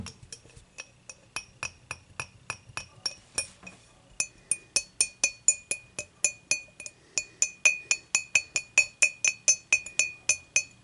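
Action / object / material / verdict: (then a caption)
tap / glass beer mug / glass / none. Long fingernails tap the base and sides of an empty, clear, dimpled glass beer mug that is held and tilted by hand. About 38 quick, bright clinks ring near 2.5 kHz with high overtones, each dying away almost at once. The taps come in a loose, uneven rhythm with a brief pause around the four-second mark.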